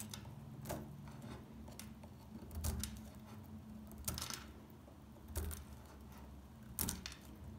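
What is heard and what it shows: A small metal pick chips flakes off a solid, dry beige soap bar. Quiet, irregular crisp scrapes and snaps stand out against a low, steady hum, with sharper bright cracks near the middle and end.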